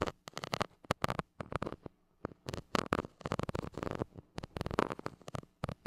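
A white plastic stick scratches the hollow metal mesh grille of a gold mini microphone, making quick bursts of close, rasping scrapes. The strokes come in uneven clusters separated by brief silences, with broadband scratchy texture that reaches up into a bright top.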